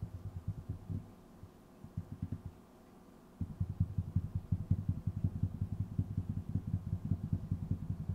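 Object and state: Wooden tabletop.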